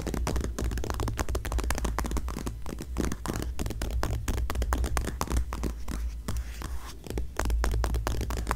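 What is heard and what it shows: A single glossy paper magazine lies flat on a grey fleece blanket, open to a full-page photo ad, while long nails and fingertips scratch and rub across the glossy page. The sound is a dense, steady run of quick, dry scratching strokes over a constant low rumble, with short pauses where the rubbing briefly softens.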